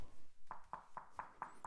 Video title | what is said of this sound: Juillet au potager : Les kiwis 🥝 poussent à vue d'œil - Avec Léo Drevet | if I tap on it, it sounds hollow because there's actually almost 15 cm of hemp-lime plaster underneath this finish